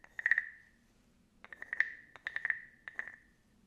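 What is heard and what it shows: A small hollow carved wooden frog guiro is held up and its ridged back is scraped with a wooden stick. Three bursts of quick, clicky ratcheting ticks sound over a hollow, ringing tone near 1.9 kHz that briefly hangs after each pass.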